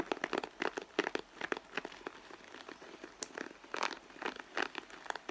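Long nails scratch and tap the side of a red pebbled-leather handbag, then fingers rub the leather. Dense, dry crinkly scrapes and quick clicks repeat throughout, with almost no low end and no ring after each touch.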